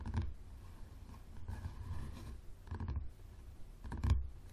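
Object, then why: Softcover book with leathery cover. Fingertips and nails of both hands tap the spine and cover of a yellow softcover book with a leathery cover, lying on a wooden table with its spine facing out. Soft, dull, low thumps come in small clusters over a faint scratchy rustle, each dying away almost at once. The loudest taps land near the start and the end.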